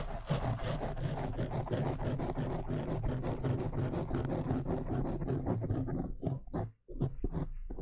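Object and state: Foam microphone windscreen being scratched.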